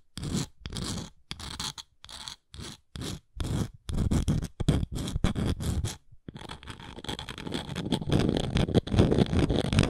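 Long nails scrape and scratch across the surface of a round, flat engraved wooden coaster. Short, separate scraping strokes with brief silences give way after about six seconds to continuous rapid scratching that grows slightly louder. The sound is a dry, low-weighted rasp with a bright hiss on top.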